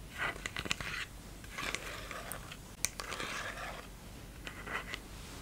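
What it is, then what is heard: Plastic bottle, tapped and scratched. A clear plastic micellar water bottle with a pink flip cap, partly full of liquid, is held in the hand and tapped and scratched with fingertips and nails. Bursts of dry, crinkly scratching come in clusters, with sharp, bright clicks and taps scattered between them over a quiet background.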